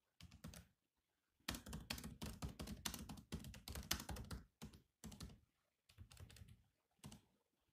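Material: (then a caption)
Plastic. Fingertips type on a silver laptop's black plastic keys in quick bursts of dry, clicky taps separated by short pauses. Each tap has a soft low thump under a bright click and dies away almost instantly.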